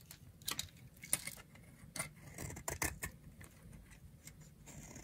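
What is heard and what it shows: A utility knife blade shaves a dry, solid, round pink bar of soap held in the palm, producing fine scraping curls. Short, dry, bright scrapes and crisp ticks come in uneven bursts over a quiet low background hiss.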